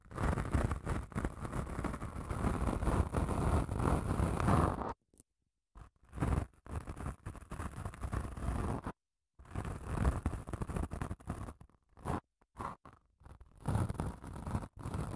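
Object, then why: Padded emery nail file. Long acrylic nails scratch along a long grey padded emery nail file, which ends up held horizontally in both hands. A dense, rasping scratch runs for about five seconds, then breaks into shorter scraping bursts separated by brief silences. Much of the sound energy sits low, under a faint bright hiss.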